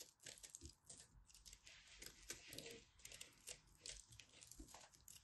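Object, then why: Pressed soap ball scraped with a knife. A solid blue and purple pressed soap ball, held in both hands, is carved and scraped with a small black knife. Many quick, bright, crisp scraping and crumbling strokes come close together, with dull low thuds underneath.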